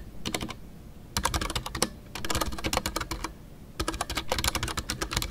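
Fingertips type on a full-size Ducky One 2 mechanical keyboard with a white case, MX Brown switches and custom artisanal PBT plastic keycaps. Quick clacky keystrokes come in bursts separated by brief pauses. Each key sound is short and bright over a soft low thud.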